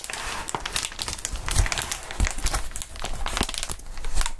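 Gloved hands hold, bend and crinkle a long, clear, inflated plastic air column cushion wrap. The result is a dense, continuous crinkling with bright, quick crackles and soft low thumps as the air-filled columns flex.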